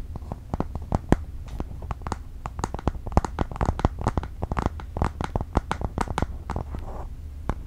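A space-grey iPad Air 4, a thin, solid tablet held upright in both hands, is tapped and scratched on its aluminum back with fingertips and nails. The result is a rapid, uneven run of short, dry taps and light scratches that die away almost instantly, over a low steady hum.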